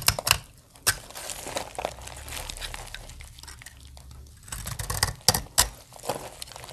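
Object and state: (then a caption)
Dry soap bar being scraped. A utility-knife blade scrapes and cuts dry flakes from a solid, dry blue soap bar. Bright, crisp crinkling and scraping are punctuated by several sharp clicks as the blade bites in. The texture is dry and brittle, with quieter scraping between the louder cuts.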